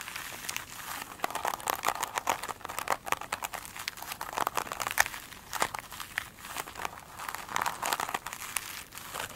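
Long pointed nails tap and scratch the top edge of a single soft, solid foam sponge with a glitter-beaded top, resting on a glossy table. The result is a dense run of dry, crinkly, crackling taps and scrapes, bright and thin with almost no low end, each click stopping short with no ring.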